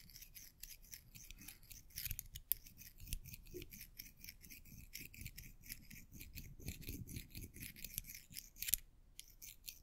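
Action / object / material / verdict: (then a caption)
scrape / small metal coins / metal / none. Several small, solid silver metal coins are held together between the fingertips of both hands and rubbed and clinked against each other. The result is a quiet, steady stream of bright, dry metallic clicks and scraping taps with almost no ring, and a few sharper clinks stand out.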